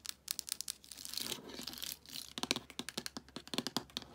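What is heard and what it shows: Long acrylic nails and fingertips tap and scratch along the spines of a row of hollow plastic DVD cases standing upright on a shelf. Quick, bright clicking taps give way to a stretch of dry, hissy scratching in the middle. A fast run of sharp, crisp taps follows, each dying away almost instantly.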